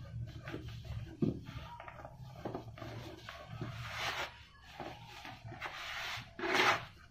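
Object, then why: Cement powder clumps. Soft clumps of dry, pure grey cement powder are crushed and rubbed between bare hands with painted nails over a red plastic tub of loose cement dust. Soft crumbling and gritty rubbing are heard, with a louder crunch near the start and a bright, dusty burst near the end as powder pours down into the tub.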